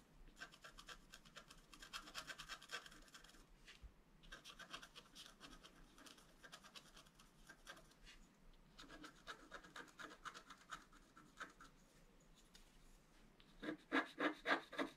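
A wooden stylus scratches the lower flower area of a flat black-coated scratch art paper sheet lying on a table. Quick, fairly regular dry rasping strokes come in bursts with short pauses. Near the end the strokes turn louder and more pronounced.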